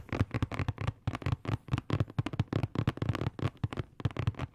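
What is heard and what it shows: A hollow, medium-sized rectangular cardboard box printed in blue and black is held in both hands and tapped and scratched with fingertips and nails. The result is a quick, uneven run of short, hollow taps with a low, boomy thump and a faint papery scratch between them.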